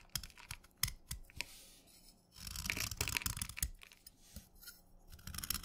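A solid cylindrical stick of wet orange chalk, held in the fingers, is shaved with a steel kitchen knife blade, scraping off crumbly curls. Quiet, bright scraping and gritty crackling strokes mix with short, sharp ticks, becoming denser and more continuous partway through before trailing off into scattered scrapes.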